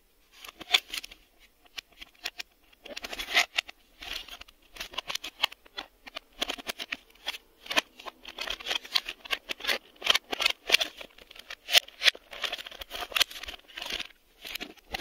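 Fingertips tap and press the reel hubs and textured shell of a hollow, black hard-plastic VHS video cassette lying underside up. Rapid, irregular bursts of dry, bright clicks and scratchy taps come in clusters with brief pauses between them. Each tap dies away almost instantly, with almost no low end.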